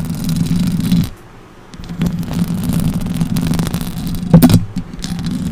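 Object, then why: Metal mesh microphone grille. Long orange acrylic nails on both hands scratch and tap the hollow metal mesh grille of a silver Blue Yeti USB microphone. The result is a dense, low, rumbling scrape, with a brief quiet pause early on and a sharper, louder tap burst near the end.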